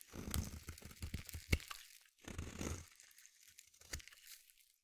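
A solid blue bar of soap is scraped with the edge of a metal blade, peeling off thin crunchy shavings. Two bursts of dense, crackly scraping, with low thuds and bright crisp edges, are separated by a short pause and followed by a few sharper isolated cracks.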